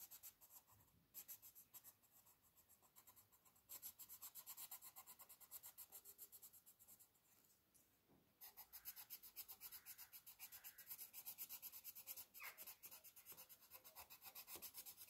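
A green wooden colored pencil shades an open paper coloring book page lying flat, rubbing in fast back-and-forth strokes. The strokes make a quiet, bright, papery scratching in steady rhythmic bursts of about four per second, with brief pauses near 1, 3.7 and 8.5 seconds.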